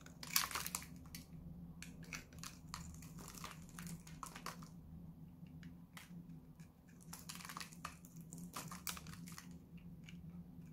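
A solid blue oval Lux bar soap, hand-sized and held in one hand, is shaved and scraped with a metal utility-knife blade, with flakes falling onto a white table. Short dry, bright scraping and crunching strokes come in quick bursts over a steady low hum. The loudest crunch comes near the start.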